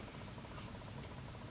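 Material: Nothing is struck.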